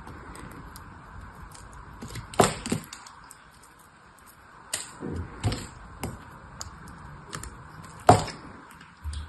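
A purple solid bar of soap held in the hand is carved and scraped with a small metal knife blade, and brittle flakes crack off. Short, sharp cracking snaps stand out against a quiet scraping hiss, with the loudest cracks at about 2.4 and 8.1 seconds.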